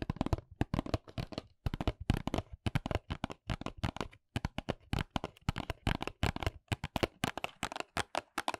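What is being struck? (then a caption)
Small paperboard box. Long nails scratch and tap rapidly on the printed back of a small white paperboard nails box held close. Dry, crisp clicks and scrapes come in quick clusters with a hollow low thump and a bright edge, separated by brief pauses. Each hit dies away almost instantly.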